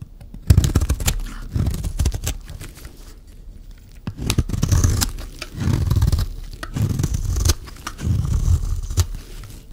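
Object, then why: Dry bar soap cut with a metal blade. A metal utility-knife blade cuts and scrapes a solid rectangular purple bar of dry soap held in the hand, shaving it into thick curls. The sound comes in repeated rough, low scraping strokes with a dense, crunchy tearing texture and quick bright clicks, separated by short quieter pauses.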